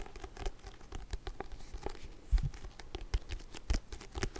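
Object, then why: Paperback book with card cover. A "Stochastik für Dummies" paperback with a glossy card cover and a solid stack of pages is held upright while fingertips and nails tap and scratch across its cover. The result is a quiet, rapid patter of soft, dull, low-pitched taps mixed with faint scratchy strokes, with a few slightly louder knocks scattered through the clip.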